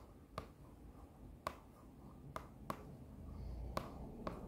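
A hollow printed cardboard box from a sheet-mask set, with a kraft paper label, is held up and tapped and scratched with long nails. Six sharp, dry taps with a papery ring around 1.1 kHz stand out, each dying away almost at once. Soft scratching and a low background rumble fill the gaps between them.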